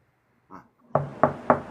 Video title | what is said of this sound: @LeprechaunTV hangs out with the Bowlers Helping Bowlers crew. | He was knocking on wood lanes right there.